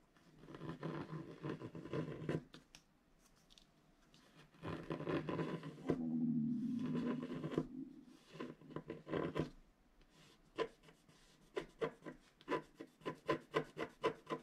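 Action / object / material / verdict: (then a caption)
scrape / black-coated paper scratch art card and wooden stylus / coated paper / none. A wooden stylus scratches continuous strokes into the black coating of a flat scratch art card made of black-coated paper board. Long, dry, raspy scraping passes with a low-mid body fill the first ten seconds, then give way to a quick run of short, evenly spaced scratch strokes.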